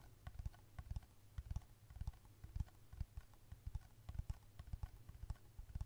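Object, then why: Plastic smartphone case. Long red nails tap quickly and repeatedly on the back of a black smartphone in a thin, flat plastic case, held close to the microphone. The taps land as quiet, dry clicks with a soft low thud, each dying away at once, in uneven bursts.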